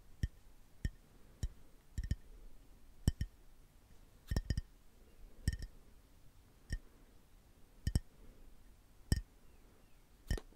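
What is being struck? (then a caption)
Small glass drink bottle. A small, full Starbucks Frappuccino glass bottle, held upright, is tapped along its side with fingertips and short nails. The irregular taps, some in quick pairs, are short and dull-thudding with a faint bright glassy tick that dies away almost instantly, heard against a quiet background.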